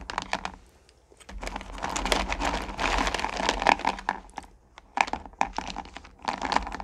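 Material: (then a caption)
Candy, plastic. Hands scoop up handfuls of small, solid pumpkin candy corn and drop them back into a purple plastic pail. Dense bursts of clicky, rattling clatter come as the pieces tumble against one another and the plastic, separated by brief quieter pauses.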